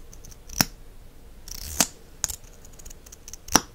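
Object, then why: Plastic mascara tube and cap. The fingers pull the wand cap out of a small plastic mascara tube with a copper-colored finish and push it back in. This gives short, bright clicks with soft scraping between them. The clicks are crisp and dry, with almost no ring.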